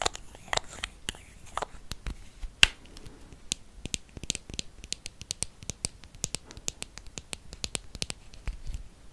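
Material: Metal.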